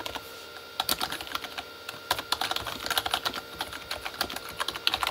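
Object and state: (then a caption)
Plastic mechanical keyboard being typed on. Both hands type with fingertips on a full-size Corsair K35 plastic mechanical keyboard with red-backlit plastic keys. Rapid, bright, clicky keystrokes with almost no low end come in quick bursts. There is a brief pause near the middle, then typing resumes steadily.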